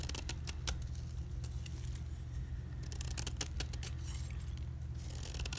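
A utility knife blade scrapes the face of a solid white gym chalk block (magnesium carbonate) held in hand, raising rows of thin curling flakes. Quick, bright, crisp scraping ticks repeat throughout over a steady low hum.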